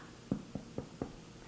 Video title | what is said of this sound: Irish Soda Bread | see how it sounds hollow